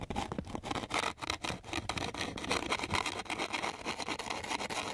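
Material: Sandpaper.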